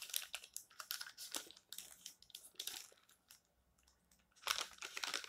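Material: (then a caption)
Glossy paper. Fingertips stroke and turn the pages of an open glossy paper magazine resting on a stack, making a bright, crinkly paper rustle in quick bursts. The rustling drops to near silence for about a second before a louder flurry of page sounds returns at the end.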